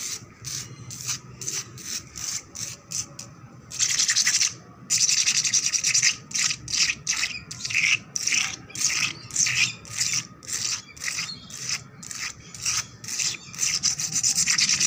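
Long black nails scratch fast across a wet, solid, painted concrete floor. The result is a quick, uneven run of bright, hissy scrapes, mixing short strokes with a few longer continuous drags.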